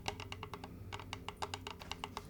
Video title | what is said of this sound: ASMR Reiki for Vitality | i love the sound of fingernails tapping on wood